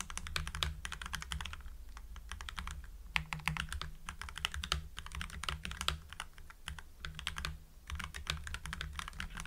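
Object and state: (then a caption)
Mechanical keyboard with plastic keycaps being typed on. Fingertips of both hands type rapidly on a full-size mechanical keyboard with lubed Gateron Yellow linear switches, white PBT cherry-profile keycaps and a blue backlight, resting on a desk. It produces a steady stream of short, bright, poppy clacks that die away almost instantly, over a constant low hum.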